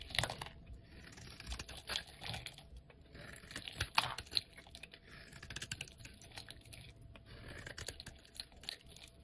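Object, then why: Soap bar. A utility knife blade scrapes across a solid cream-colored bar of soap held in the hand, crumbling off flakes. The sound is a dry, bright, irregular run of crisp scratches, ticks and crumbly crackles. It is soft and close, with very little low end and almost no ring.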